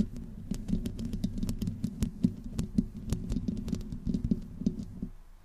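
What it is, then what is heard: Metal mesh microphone grille being scratched. Long painted nails on both hands slowly scratch the hollow metal mesh grille head of a black USB condenser microphone. The result is a close, dense patter of low, throbbing scrapes centered around 200 Hz, broken by sharp, bright clicks. The scratching fades out at the end.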